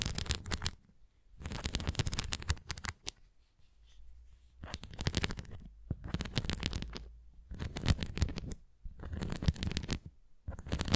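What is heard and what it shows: Long nails scratch across the raised bumps and rim of a red plastic flying disc toy, held face-on and then tilted. The result is bursts of dry, rapid rasping and scratching, with brief quiet pauses between strokes.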